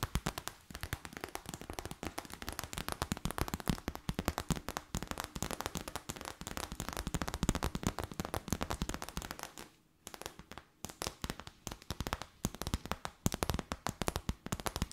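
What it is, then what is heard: Clear plastic bag. Long white nails rapidly tap an empty transparent plastic bag held between the hands, producing a dense stream of sharp, crackly clicks with a low thump beneath each one. The tapping runs almost continuously, dropping out briefly around the ten-second mark before resuming just as quickly.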